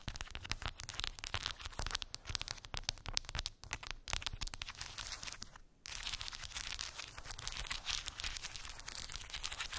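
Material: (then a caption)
Wood. Long pink acrylic nails tap and scratch across a small square cork board covered in glued round wooden beads. Dense, rapid, bright clicks and rattling scrapes run throughout, with a brief quiet gap near the six-second mark before steadier scratching resumes.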